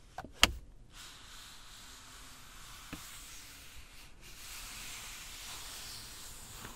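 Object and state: Leather car armrest.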